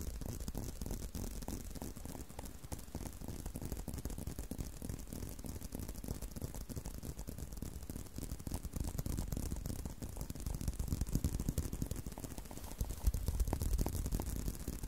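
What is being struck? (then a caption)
Leather belt. A brown leather belt is held curved in both hands while fingertips scratch and tap its solid leather surface. The result is a quiet, dense stream of rapid, dry taps and scratches that are mostly low and muffled, with no ring after each touch. The tapping grows slightly louder toward the end.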